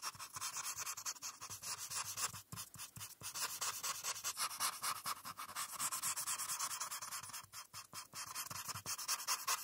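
A felt-tip marker is scratched and rubbed back and forth across a flat paper coloring page while the background is colored in. The result is a steady run of quick, bright, dry scratching strokes with almost no low end, broken by brief pauses near 2.5 and 7.5 seconds.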